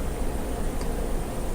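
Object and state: Nothing is struck.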